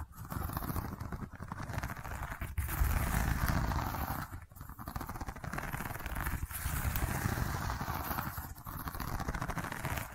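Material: Seagrass.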